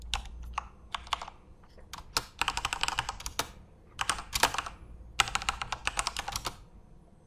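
Both hands type rapidly with their fingertips on a Corsair mechanical computer keyboard with plastic keycaps and RGB backlight, resting on a desk. Quick bursts of bright, sharp plastic clacks come in runs separated by brief pauses, each keystroke dying away almost instantly over a faint low background hum.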